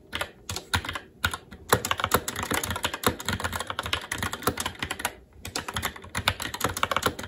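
Fast, continuous typing with the fingertips of both hands on a SteelSeries Apex 7 TKL mechanical keyboard, which has plastic keycaps on a metal top plate and Red linear switches. The result is a dense run of short, bright plastic clacks with soft low thumps beneath, broken by brief pauses near one second and five seconds.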